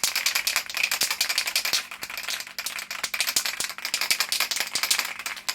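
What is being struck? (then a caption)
Metal spray paint can with ball bearing. A metal spray paint can is shaken before spray painting a chess pawn, giving a fast, continuous bright rattle of the ball bearing knocking inside. The rattling is a good sign, showing the paint is mixing.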